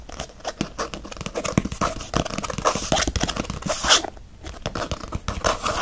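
Fingernails scratch fast across a faux leather planner cover while the planner is held by its edge. Dense, rapid rasping strokes carry bright, hissy high frequencies, building to a loud burst near the four-second mark. A brief lull follows, then the scratching resumes.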